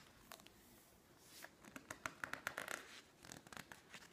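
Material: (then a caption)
Paper. Long nails scratch and rub the pages of a thick, open glossy-paper magazine, and the pages are flipped quickly. Quiet, dry scratching gives way to a run of sharp, bright paper rustles and snaps from the page turns, with almost no low end and no ring.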